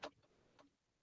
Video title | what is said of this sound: KSSM SCIENCE F2: CHARACTERISTICS OF SOUND WAVES | itu saya ketuk meja. Maksudnya bunyi itu terhasil daripada getaran meja yang diketuk